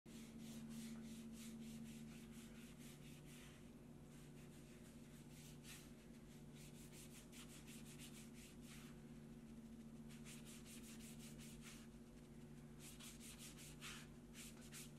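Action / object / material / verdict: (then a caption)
scrape / vegetable-tanned leather strap rubbed with a slicking tool / leather / none. A handheld slicking tool is rubbed quickly back and forth over a flat, solid strip of natural vegetable-tanned leather with laced holes along its edges, lying on a marble slab, to burnish the surface. Bursts of rapid, bright, dry swishing strokes come and go with short pauses, over a steady low hum throughout.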